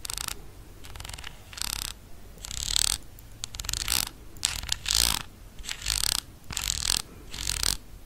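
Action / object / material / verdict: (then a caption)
scrape / plastic cosmetic jar with ribbed screw lid / plastic / none. Long nails scratch along the ridged side of the black ribbed screw lid on a small amber plastic cosmetic jar, held close. The result is a series of bright, rasping, ratchet-like clicking bursts, repeated at an uneven pace, with very little ring after each stroke.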